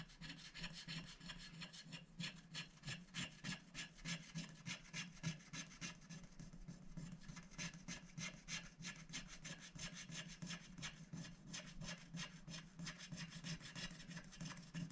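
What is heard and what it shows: A wooden stylus scratches the coating from a small shape near the bottom of a black-coated scratch-art paper sticker sheet, which rests on a glass plate and is held by one hand. Quick, steady rasping strokes repeat about three times a second for the whole clip. Each stroke has a bright, papery scrape over a low hum.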